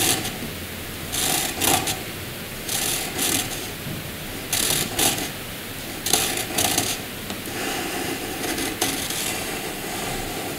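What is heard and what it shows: A hand-held black wooden graphite pencil draws short vertical strokes on white paper, its tip scratching the surface. Bright, rasping bursts of scratching come in loose clusters over a faint steady hiss.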